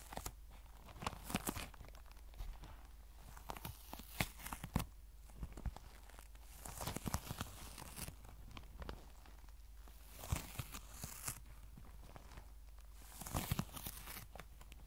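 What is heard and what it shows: Long nails scratch and squeeze the surface of a tan, cylindrical faux leather pencil case held upright, making dry tearing and crinkling scrapes. Soft, close-up bursts of bright scratching rise and fade over a low, steady hum, with sharper clicks from the nails standing out in between.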